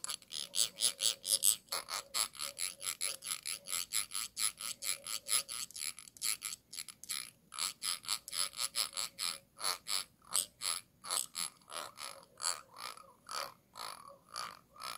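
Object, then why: Glass jar base with ridged rim. A thin stick tool scrapes back and forth across the textured base of a clear glass jar with a dotted, ridged rim. The result is about sixty short, bright, raspy scratches in a fast, uneven rhythm, each with a faint high, glassy tick and almost no ring.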